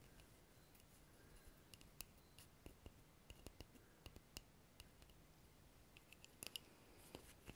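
A wooden object is tapped repeatedly with quick, dry, sharp clicks that die away almost instantly, some landing in close clusters. The taps are quiet against a soft background hiss, with a bright edge on each strike.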